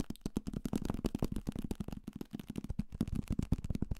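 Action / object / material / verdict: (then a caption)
tap / paperback book, paper and card / paper / none. A thick paperback copy of Salem's Lot, a solid paper block with a card cover, is held in the hand and tapped fast and aggressively with fingertips and nails on its cover, spine and page edges. The result is a quick, continuous run of short, dull, low thuds with crisp clicking edges, each dying away almost instantly.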